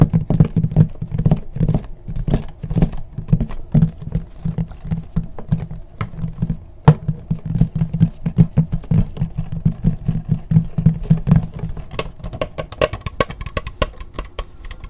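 Long nails tap and scratch the textured plastic lid of a closed black laptop held close in front of the microphone. Quick, dull, low-pitched taps come in a steady patter with short scraping strokes between them, each dying away almost at once, with faint bright clicks on top.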